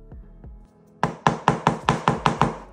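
A homemade bath bomb made of baking soda, citric acid and corn starch, dried about 12 hours and free of cracks, is knocked on eight times in quick succession after two faint soft sounds. Each knock is short, dry and clear, with little ring. The bath bomb is very hard and fully set.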